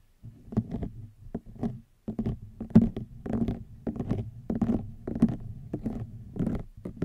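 Long nails scratch across a hollow woven rattan wicker basket in a quick, uneven series of short, dry, papery strokes. Each stroke has a dull low-mid body, a faint bright edge and almost no ring, with brief near-silences between bursts.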